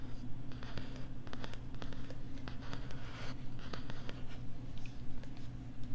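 A pink plastic LCD writing tablet, held close to the right ear of a microphone, is written on and tapped with a stylus. Quick, bright scratches and light clicking taps come in rapid bursts over a steady low hum.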